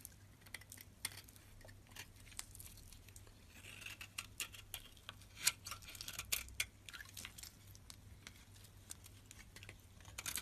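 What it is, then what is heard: White bar soap being carved. A solid white bar of soap, held in the fingers, is carved and scraped with a metal box-cutter blade as flakes fall away. The sound is a quiet run of crisp, bright scraping and short clicking ticks over a faint low hum, with a few sharper cuts standing out.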